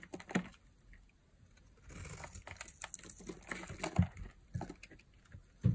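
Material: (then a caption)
Glycerin soap. A palm-sized, solid translucent green glycerin soap bar is held in one hand and shaved along its edge with a metal blade into curls. Soft, irregular scraping and cutting taps come through, with a denser rasping stretch in the middle and a few sharper, heavier cuts toward the end.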